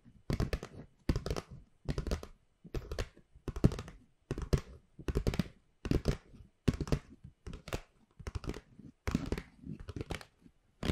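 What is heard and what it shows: Long pink nails tap and scratch the flat paper sides of a hollow white Pandora paper gift bag with rope handles. It makes quick, dull, low-heavy bursts of tapping and scratching, each lasting about half a second and separated by short silences, with almost no ring.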